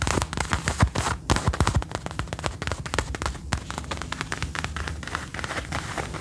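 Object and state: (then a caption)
Faux leather jacket. Fingernails tap and scratch the shoulder, sleeve and front of a dark brown faux leather jacket being worn, its soft, thin material giving a rapid, uneven run of short, dull taps with a low thump and dry scratchy rustle. The taps come quickly and irregularly, each dying away almost at once.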